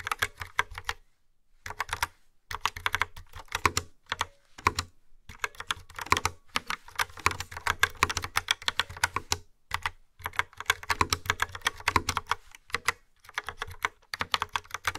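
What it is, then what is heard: Plastic retro keyboard with round keycaps. Fingertips with long nails type on a yellow and black plastic retro keyboard with round dark keycaps and a hollow housing. The result is rapid bursts of crisp, bright, clicky key taps with short pauses between runs, each tap dying away almost instantly.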